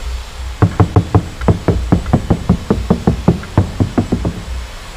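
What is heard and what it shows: Around seventeen fast knuckle knocks, each a short low thud centred near 170 Hz with no ringing tail. The car door skin sounds deadened, not tinny, because the damping layer bonded to the sheet metal soaks up its vibration.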